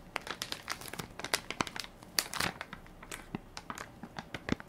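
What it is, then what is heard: Plastic wipes soft pack being crinkled. Fingertips and nails press and crinkle the film of a hand-sized Equate baby wipes soft pack, full of wipes and held in one palm. The crinkly plastic gives a dense run of bright, quick crackles and sharp snaps that stop almost instantly, with little low end. The crackles come in uneven bursts, with louder clusters partway through.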